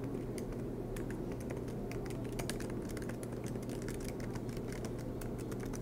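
Fingertips of both hands type rapidly on the black plastic keycaps of an aluminium MacBook Pro laptop resting on a desk mat. A continuous stream of soft, bright key clicks patters over a steady low hum.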